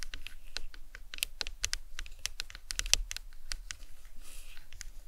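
The tips of long acrylic nails tap rapidly on top of a large, hollow, white plastic anatomical skull cap resting on a towel. They make a quick patter of sharp, bright clicks with almost no ring, like fast typing on a keyboard, over a faint low rumble.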